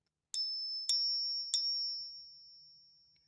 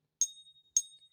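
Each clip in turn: First: fake silver coin, ring too high. Second: genuine silver coin, true ring.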